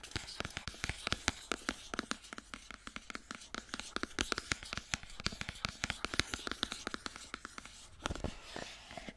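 Long nails tap and scratch the sides and top of a small, hollow white cardboard iPhone box as it is turned in the hand. Dozens of quick, dry, bright clicks rattle over a soft scratchy rustle, each tap dying away almost at once.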